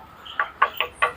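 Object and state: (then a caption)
Aluminum front bumper. Knuckle knocks on a Hammer aftermarket aluminum front bumper with built-in turn signals, meant for a blue Ranger and very light compared with the usual steel version. Four quick, hollow taps ring bright and metallic around 1.1 kHz and die away almost instantly, with no low-end thud.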